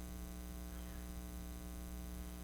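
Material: Nothing is struck.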